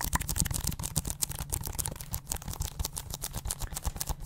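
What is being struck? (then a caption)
Plastic video game case. Long acrylic nails rapidly tap and scratch the surface of a small, hollow, closed plastic Mario 3D game case held in both hands close to the microphone. The result is a dense, fast stream of short, dry clicks and scratches with a hollow low thump under bright plastic ticks.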